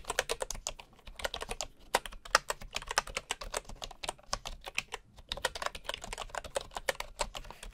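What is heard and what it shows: A bamboo computer keyboard with wooden keycaps and a hollow housing is typed on with the fingertips of one hand, while a wooden mouse beside it goes untouched. It produces a quick, uneven run of short, dry, clicky taps, centred in the mid-range with a bright edge and little low end. Each tap dies away almost instantly, with brief pauses in the typing just before 2 seconds and around 5 seconds.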